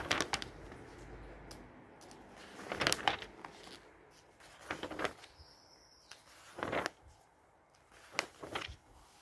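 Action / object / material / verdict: scrape / glossy paper catalog / paper / none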